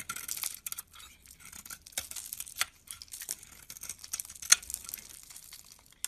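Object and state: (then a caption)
Soap bar being carved. A hand-sized solid bar of pink soap with a white interior, held in the palm, is shaved with a utility knife blade so curls and flakes come off. Quiet, bright, dry scraping and rasping strokes come in irregular bursts, with one sharper crisp snap near the end.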